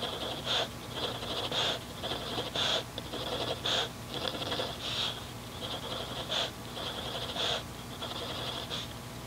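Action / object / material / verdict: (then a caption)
scrape / pencil on paper notebook / paper / none. A mechanical pencil scratches dotted guide marks and strokes onto a grid paper notebook resting on a desk. Bright, papery scratching rises and falls in a loose rhythm of short bursts, over a faint steady low hum.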